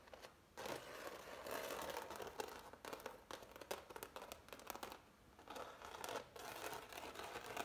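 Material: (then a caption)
Oil paint. Fingertips and nails scratch and rub across the thick, ridged paint strokes of a medium-large framed impasto oil painting on canvas. The result is dry, crinkly scraping in uneven bursts, centered in the midrange with a bright, gritty edge, broken by brief quiet pauses near the start and around the five-second mark.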